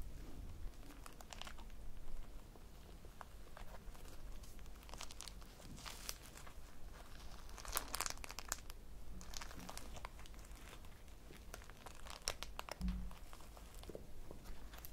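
A small, soft, solid polyurethane foam squishy toy shaped like a slice of cake, pink with yellow crumbs and an orange topping, is held in both hands and squeezed and scratched with long manicured nails. The result is quiet, continuous crinkling and scratching, with brief bright crackly bursts and soft low squishes.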